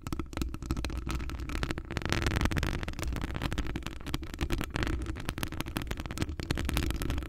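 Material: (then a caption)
Metal. Long acrylic nails on both hands scratch across a hollow metal wire-mesh microphone grille. The result is a dense, continuous scraping and crackling texture with a heavy low rumble and rapid, closely packed scratchy ticks throughout.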